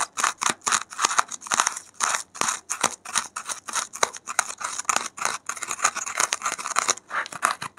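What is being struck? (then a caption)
Expanded polystyrene foam block. A gloved hand scratches and digs with a safety pin into a white expanded polystyrene (thermocol) foam block with loose beads piled on top. The result is a fast run of dozens of short, dry, squeaky scratching strokes, bright and hissy with almost no low end. Each stroke stops abruptly.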